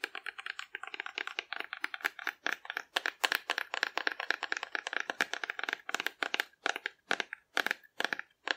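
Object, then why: Hollow cardboard dinosaur figure. Long dark-red nails tap and scratch the surface of a hand-sized, hollow cardboard dinosaur painted in rainbow colors and held in one hand. Dozens of quick, dry clicks and crinkly scrapes come in a steady run, with short gaps between bursts. The sound is papery and bright, centered around 1.7 kHz, with no low end and almost no ring after each hit.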